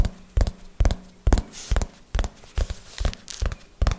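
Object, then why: Hardcover notebook with board cover. Fingernails tap on the cover of a small red hardcover notebook held upright, making short, dull low thuds with a faint bright click on top. The taps fall in a slow, loosely even rhythm, some as quick doubles, and each dies away almost at once.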